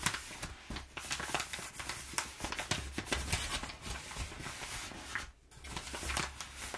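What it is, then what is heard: Crumpled kraft paper padding. Fingertips and nails scratch and scrunch crumpled brown kraft paper packing padding, giving a steady run of bright, dry crinkles and crackles with a faint low hum underneath. The rustling pauses briefly near the end, then resumes just as busily.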